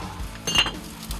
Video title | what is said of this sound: 박물관에서나 보던 건데. 1300도 가마에 구워낸 왕만 쓰던 물건 대체 왜 비싼가 봤더니｜푸레도기 장인｜극한직업｜#골라듄다큐 | 종을 두드리던 맑은 소리가 나는 것이 특징입니다